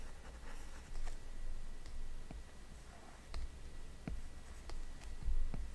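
A hard plastic Apple Pencil tip, held in the fingers, taps and scratches short strokes on the glass touchscreen of a large iPad. Five soft, dry clicks stand out over faint scratchy rustling, a low background rumble and a thin steady tone near 1.9 kHz.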